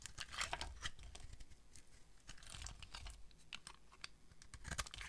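A utility knife blade carves curls off a solid pink rectangular bar of dry soap held in the hand. The sound is a rapid run of dry, crisp scraping and crackling bursts with bright, hissy tops over a low rumble. Each stroke is short and stops dead, like tearing and crinkling.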